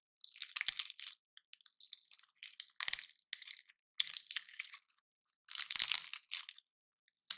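Fingers and a thumbnail pry and break the woody scales off a single palm-sized, dry, gold-painted pine cone. Bright, crisp crackling and snapping comes in several dense bursts with short silences between them. Each burst is sharp and dry, with no low rumble.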